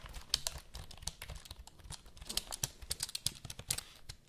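Long nails type and tap on the keys of a full-size black plastic HP computer keyboard held diagonally near the mic. The result is a quick, uneven run of bright, dry plastic clicks and clacks that stop short with no ring, over a faint low rumble.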